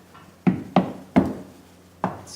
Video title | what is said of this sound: Lizardskin Final Review after top coat and lessons learned | like a wooden subfloor than a metal platform or something